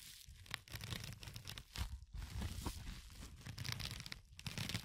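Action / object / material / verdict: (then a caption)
scrape / porous foam sponge / foam / none. A fingertip with a short nail scratches across the surface of a yellow porous foam sponge. The result is a continuous, close-up rasping crackle with bright, tearing hiss over a low rumble, rising and falling in brief bursts with short quiet gaps.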